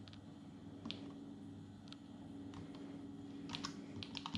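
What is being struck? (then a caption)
Plastic palmtop computer keyboard. Both hands type quickly with their fingertips on the plastic keys of an open Atari Portfolio, a small dark plastic palmtop computer. Short, bright, dry key clicks come in quick irregular bursts over a steady low hum.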